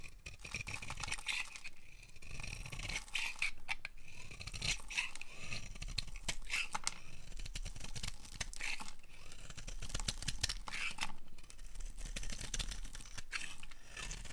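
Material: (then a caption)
Soap. A utility knife blade scrapes and carves a solid, hand-sized, dry orange-red bar of soap, producing a steady run of dry, crunchy scraping strokes with a bright, gritty edge. Flakes break off the bar, giving short crackly bursts between the longer scrapes, with no ringing after each stroke.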